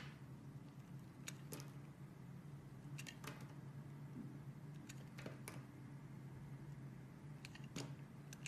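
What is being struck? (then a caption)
Glycerin soap bar cut with a metal blade. A metal box-cutter blade slices thin sheets from a translucent yellow solid glycerin soap bar held in one hand. Short, crisp scraping cuts come at irregular intervals over a steady low hum.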